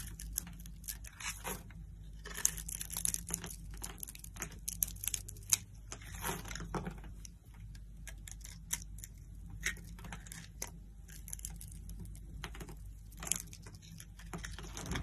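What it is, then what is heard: Bar of soap being cut. A metal knife blade scrapes and cuts small diamond-shaped chips from a solid green soap bar held in the palm and scored in a diamond grid. Dry, crisp crunching and bright crackling scrapes come in quick bursts over a steady low hum, with the sharpest snaps standing out above the rest.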